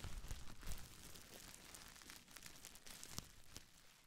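A small folded bundle of clear, air-filled plastic bubble wrap is crinkled and scratched with long nails and fingertips close to a microphone. Busy crackling and crinkling come with sharp bright snaps and a low, thumpy handling rumble. It is loudest in the first second, then settles into a softer, steady rustle that fades toward the end.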